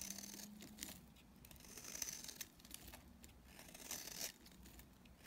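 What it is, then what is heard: Dry bar soap being scraped. A utility knife blade scrapes across a dry, palm-sized solid blue bar of soap held in the hand, chipping off brittle pieces. The cuts make bright, dry scraping and crisp crackling sounds in uneven bursts, with small chips crunching and breaking away.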